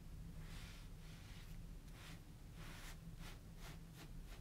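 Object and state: Nothing is struck.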